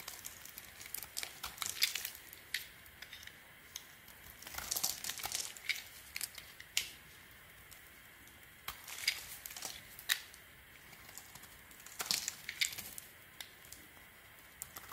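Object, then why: Bar of soap scraped with a small blade. A small metal blade scrapes and carves flakes from the surface of a solid, light blue marbled bar of soap held in the hand. Crisp, bright scraping and crinkling strokes come in quick bursts with short pauses between them, each sound dying away almost at once. The sound is quiet and airy, with almost no low end.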